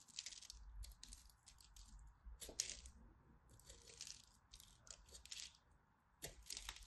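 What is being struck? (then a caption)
Soap bar scraped with a blade. A craft blade scores a solid purple-and-white striped dry soap bar held in the hand and chips off flakes. Bursts of crisp, bright scratching and brittle crackling come in uneven strokes over a faint low rumble, with brief sharper clicks as pieces break away.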